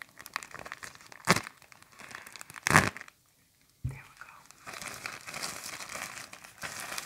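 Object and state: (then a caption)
Plastic garbage bag crinkling. A large, thin, empty black plastic garbage bag is held in both hands while fingertips and nails crumple, pinch and stretch the flexible film. Steady, bright crinkling is broken by two sharp, louder crackles near 1.3 and 2.8 seconds, then a brief silence. A sudden crackle brings back the rustling, which continues to the end.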